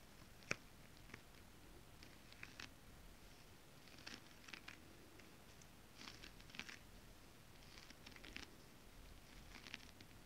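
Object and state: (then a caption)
Holographic scale-print fabric. Long acrylic nails on both hands tap a flat holographic scale-print mermaid scale fabric. Quiet, crisp, bright little clicks and rustly taps land in irregular clusters, each dying almost instantly over a soft steady hiss.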